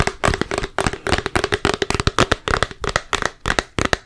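A full, large plastic Peter Pan peanut butter jar with a yellow plastic lid is held in the hands and tapped with long nails and fingertips on its body and lid. About 26 quick, sharp, dry clicking taps come in an uneven rhythm over four seconds, each dying away almost instantly.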